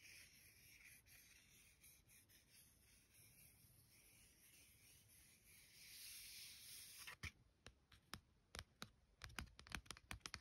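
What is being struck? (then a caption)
Paper card-stock greeting card. Long gold-tipped nails and fingertips trace and rub across a thin, solid card-stock greeting card with a boar illustration, lying flat on a stack of cards. For about seven seconds a soft, bright scratchy hiss of rubbing is heard, swelling slightly before it stops. It is followed by a string of quick, sharp nail taps on the card.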